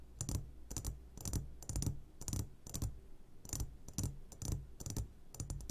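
Fingertips tap on the sides of an upside-down clear glass jar full of hard candies, making quick clusters of light taps with bright clicks over a low, steady hum. The taps come in short bursts at an uneven pace, each one dying away almost at once.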